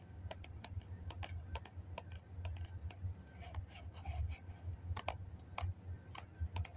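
Fingernails tap on the side of a hollow white foam cup held in the hands, making a quick, irregular run of short, dry clicks that die away almost instantly. A steady low hum sits underneath the taps.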